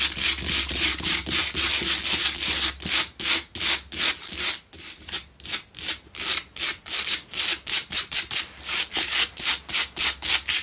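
Long pale-blue nails scratch a lit pink Himalayan salt block double candle holder made of solid salt. A bright, dry rasping scrape runs nearly continuously at first, then breaks into quick, separate back-and-forth strokes with short gaps between them.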